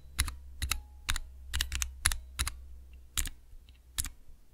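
Fingertips press the keys of a small clear plastic Cherry MX switch tester with transparent keycaps, making a series of sharp, bright mechanical clicks and clacks at an uneven typing pace. Each press is short and dry with almost no ring, and a steady low hum sits underneath throughout.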